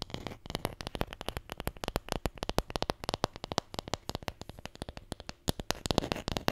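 A wooden Scrabble letter tile, the J, is tapped and scratched in a rapid, uneven run of dozens of short, dry clicks. Each click is crisp with almost no ring, over a faint scratchy rustle between the taps.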